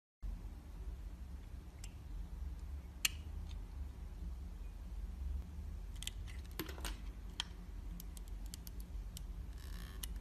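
A utility knife blade shaves and scrapes the outer layer off a palm-sized, red, translucent solid bar of soap held in one hand, exposing the pink inside. Short, sharp, bright scraping clicks come at irregular intervals over a steady low rumble. The cuts sound crisp and dry, with almost no ring.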